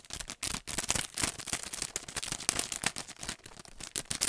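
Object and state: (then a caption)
Paint brush blister pack. A long, thin retail pack of paint brushes, with a printed cardboard backing and a clear plastic blister, is held in both hands and tapped and scratched with the fingernails. The result is a fast, steady stream of short, dry, bright plastic clicks and scratchy crinkles with little low end and no ring.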